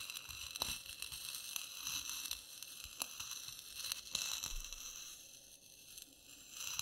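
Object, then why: Instant coffee granules ground with a ceramic spoon on a clay plate. A white ceramic spoon, held by fingertips with short nails, grinds loose dry instant coffee granules spread in a layer on a clay plate, scraping them in slow circles and crushing them into fine powder. The sound is a quiet, bright, gritty crunching and scraping, dotted with sharp little crackles, with the spoon's contact on the plate faintly heard beneath.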